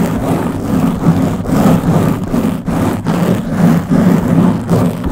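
Long blue-painted nails on both hands scratch the round black foam windscreen covering the head of a Blue Yeti microphone. The result is a steady, rough, rumbling scratch with a low hum-like tone, rising and falling in loose strokes about every half second.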